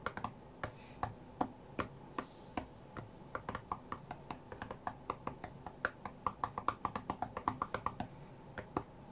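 Fingertips tap the glass touchscreen of an iPad tablet lying flat on a cutting mat, as in rhythm game play. There are 41 short, dry taps with a sharp click around 1.1 kHz, coming at an uneven pace and growing denser toward the end. Each tap dies away almost instantly over a faint steady hiss.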